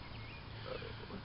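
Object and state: Nothing is struck.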